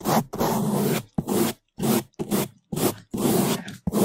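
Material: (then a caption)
Foam. A gloved hand brushes the top of a large, soft, porous black foam microphone windscreen with a bamboo toothbrush, making fast, loud bristle scratching and rubbing. Irregular bursts of broadband hiss with a thick low body are separated by short silent gaps.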